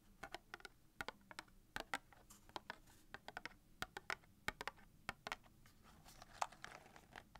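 A small, hollow red cardboard matchbox filled with wooden matches is rapidly tapped with long dark-painted nails. Many quick, dry, clicky taps come in an uneven patter, each dying almost instantly, with a bright, papery tone centered around 800 Hz and very little low end. The sound stays quiet and close throughout.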